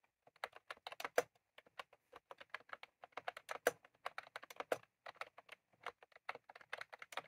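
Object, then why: Plastic keyboard with round keycaps. Fingertips of both hands type on a white/cream plastic retro computer keyboard with round typewriter-style keycaps, resting on a desk. The result is a quick, uneven stream of short, dry plastic clicks centered around 500 Hz, with bright upper edges and no lingering ring.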